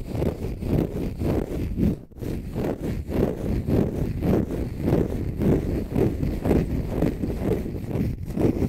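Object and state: Dry konjac sponge.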